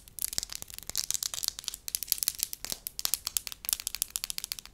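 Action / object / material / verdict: tap / soft wax slab / wax / none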